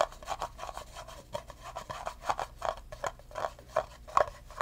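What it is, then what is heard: Empty plastic cup. An empty clear plastic cup is held sideways while fingertips rub and tap its rim and sides. The result is a quick, irregular run of soft, dry taps and scratchy rubbing, each with a short hollow midrange ping near 1 kHz that dies away almost at once.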